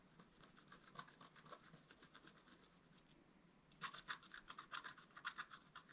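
A wooden stylus scratches the top ornament of a flat, wax-coated scratch-art paper card lying on a table in short, quick strokes. Dry, bright scratching repeats rapidly, falls to a brief lull around the middle, then returns louder and sharper.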